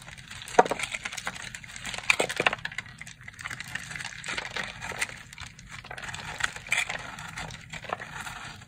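A porous, dried-out purple soap block with a textured surface is held in hand and cut through with a red box-cutter blade. Dry, crackly scraping and crisp snapping ticks come in quick bursts, with a few sharper clicks standing out, bright and light with little low end.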